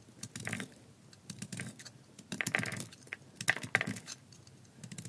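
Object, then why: Bar of soap. A thin remaining slab of tan dry soap, held in the hand, is shaved with a metal utility blade in short scraping cuts. Each cut gives a crisp, dry, bright scratch with a brief crackle and almost no ring, and the cuts come at an uneven pace with quiet pauses between bursts.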